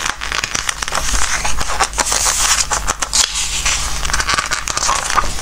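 Fingertips slide over the glossy paper pages of a softcover Christmas craft book, lifting and turning them. The sound is a steady stream of bright crinkling, crackling rubs and quick papery flips over a faint low hum. The pages whisk and rustle continuously with no long pauses.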